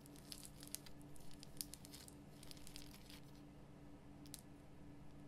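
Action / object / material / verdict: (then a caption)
scrape / rock salt lamp / rock salt / none. Long nails scratch and tap the rough surface of a large, glowing pink Himalayan rock salt lamp, a solid salt block. Quiet, dry, gritty scratches and sharp little ticks crackle brightly over a steady low hum.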